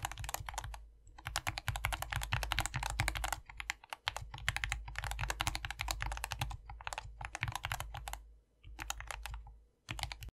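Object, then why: Plastic mechanical keyboard with plastic keycaps. Two hands type continuously with their fingertips on a compact 60% SK61 optical mechanical keyboard, lubed and modded, with a foam-filled white plastic case and green, white and pink PBT keycaps. Rapid, crisp clacking keystrokes with a deep, muted thock underneath come in dense bursts, broken by short pauses near 4, 8.5 and 9.8 seconds.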